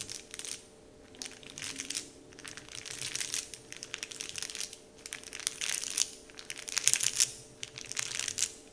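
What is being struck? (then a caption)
Printed plastic wrapper sheet. Fingertips tap, rub and crinkle the surface of a large, flat, heart-shaped "Dove" printed wrapper sheet lying on a table. The result is bursts of soft, bright, crisp crinkling and rustling that swell and fade in irregular waves, with brief quiet gaps between them.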